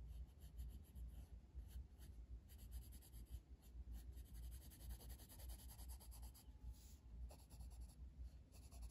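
A blue wooden colored pencil, held in the fingers, rubs across a flat paper page of a coloring book lying on a table, making shading strokes. Quiet, steady scratchy rubbing repeats at a brisk, uneven pace, with a low rumble underneath and faint bright hiss.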